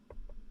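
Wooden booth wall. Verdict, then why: Real. Knuckles knock three times on the real wood wall of a homemade recording booth built with a saw and a drill. The knocks are short, dull, low thuds with a brief ring. A low hum sits underneath.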